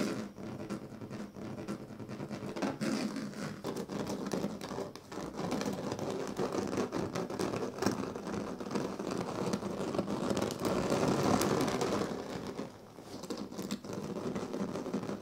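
Two hands scratch and rub the thin dyed reed strands (purple, green and yellow) of a large, flat woven reed sleeping mat on the floor with fingertips and nails. The result is a dense, continuous papery scratching and rustling, with rapid, uneven strokes centred in the low-mid and mid range. It briefly softens just before the end, then resumes.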